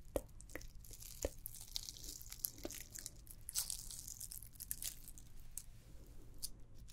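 A red and white glittered plastic candy cane ornament is scratched and tapped with long nails. Quick, sharp clicks and dry scratchy rustles come through with a bright, crinkly edge over a low steady hum. The sound is close and quiet.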